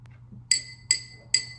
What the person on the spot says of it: the note has a lower pitch than the last time